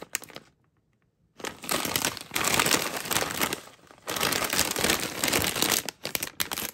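A medium, flexible, matte metallized plastic veggie chips bag full of chips is held in hands with long matte nails, crinkled and squeezed, and its serrated top edge is handled as it is opened. After a few brief crackles and a short pause, dense, bright crinkling and crackling rises in long waves, with quick sharp crackles near the end.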